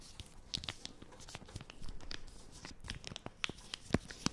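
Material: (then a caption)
Plastic film. Long nails scratch and crinkle the plastic film of a small, flat wipes packet with a green logo, held close to the mic. A steady stream of dry crackles and sharp, bright ticks comes through, with a few louder snaps standing out near the end.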